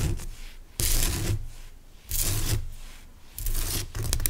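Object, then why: Rock salt crystal lamp. Fingernails scratch and rub across the rough surface of a large, pale, solid rock salt lamp crystal. Bright, hissy rasping strokes come in repeated bursts, each fading into a softer scraping texture over a low, dull rumble.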